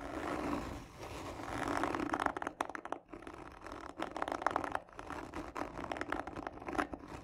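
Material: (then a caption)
Cardboard. Long nails scratch hard and slowly across the top of a hollow black textured cardboard gift tube. The result is a dry, raspy scraping in irregular bursts, with a hollow midrange body and little low end.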